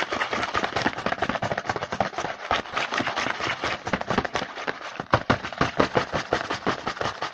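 Fingertips tap and scratch fast on the printed front of a small, hollow cardboard Hanuta snack box held in the hand. Quick, dry, papery taps and scratchy rasps pile up in a dense, rapid stream, with no pauses between them. The sound stays mid-to-bright and crackly throughout.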